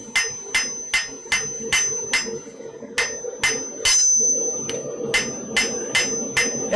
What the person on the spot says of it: every now and then you just got to strike the Anvil hard so you can hear it ring it's wonderful